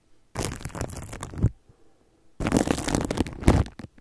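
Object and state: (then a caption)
Plastic cling film rubbed over a microphone. Fingertips rub, scratch and crinkle clear plastic cling film wrapped around a microphone. Two dense bursts of close, muffled crackling and rustling are heard, heavy in the low end with a bright papery edge, separated by a short quiet gap.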